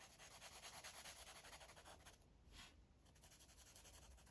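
A green Sharpie felt-tip marker rubs back and forth across a thick, solid stack of white pages in a paper coloring book lying flat, while the other hand holds the pages. Quiet, bright, scratchy strokes come in a quick, steady rhythm. They soften briefly midway, then pick up again.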